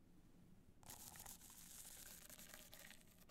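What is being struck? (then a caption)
Rhinestone-covered hard-shell clutch bag. Long nails scratch down the face and top edge of a black, multicolor rhinestone hard-shell clutch standing upright. After a quiet low hum, a dense, bright, crackling scratch starts and continues unbroken to the end.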